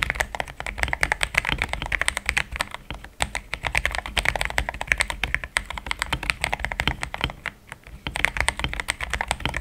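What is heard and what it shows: Fast fingertip typing on a compact, solid mechanical keyboard with a pink case and thick cream XDA plastic keycaps. It produces a steady stream of short, dry clacks with a bright tone centered around 2 kHz and a light low thump beneath, with no ring-out between keystrokes.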